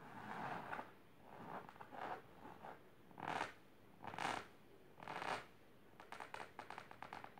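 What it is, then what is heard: Fabric-covered storage box being scratched. Long silver nails scratch the fabric of a large pink patterned fabric-covered box or ottoman with both hands. Soft, dry scratching comes in bursts and longer strokes, each rising and fading. The clip ends in a run of quick, short scrapes.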